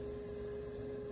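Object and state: Nothing is struck.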